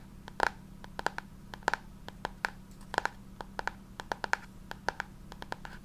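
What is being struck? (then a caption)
Textured hardcover book cover, board and cloth. Fingers tap and scratch the textured hardcover of a copy of The Picture of Dorian Gray, chosen for its sound because the cover is textured and the book is a hardcover. A quick, irregular series of short, dry clicks and taps rises over soft scratching, each stopping almost instantly.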